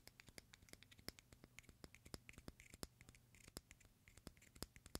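Fingernails and fingertips scratch and tap the hard, thin shell of a single whole raw white hen egg. Quiet, dry, rapid clicks and scratches with bright edges repeat throughout, with no ring after each one, over a faint steady low hum.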